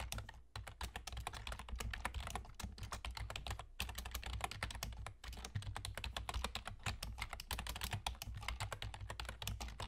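Fingertips with short nails on both hands type rapidly on a full-size black plastic computer keyboard with German key labels and hollow keys. The result is a dense, continuous stream of short, crisp clicks and taps with a few brief pauses, over a steady low hum.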